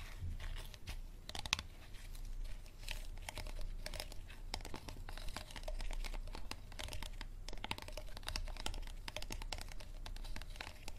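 An empty, hollow, clear thin plastic water bottle is gripped in both hands while fingertips and nails squeeze and scratch its ridged plastic. Dense crinkling and crackling with sharp clicks and scratchy rasps runs steadily throughout, over a low rumble.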